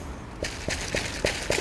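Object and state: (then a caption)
Ripe butternut squash. A ripe butternut squash is tapped several times in quick succession, each tap giving a short, hollow knock like tapping a table top. The hollow sound, together with skin that resists a thumbnail pressing in, shows the squash is ripe.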